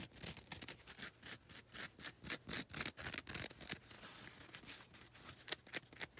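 Long red nails scratch across the grey grit face and the lilac coarse face of a foam nail buffer block. The result is a quick, uneven run of short, dry, bright rasping strokes, about two dozen in all, each one stopping dead with no ring.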